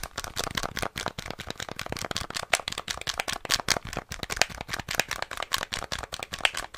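Fingertips rapidly tap and click the buttons and casing of a small, hollow, rectangular grey plastic NES controller with a black face panel, held in both hands close to the microphone. The result is a dense, fast run of sharp, dry plastic clicks with bright, crisp tops and almost no ring.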